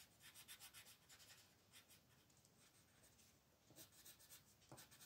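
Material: Paper.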